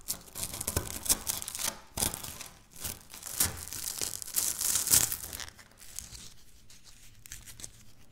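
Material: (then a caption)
Wafer. Dry wafer biscuit crumbs and chunks are crushed and scratched by fingertips and nails on a stone countertop. Dense, bright crackling and crunching bursts come in irregular waves. After the loudest crush, it settles into quieter, fine scratching.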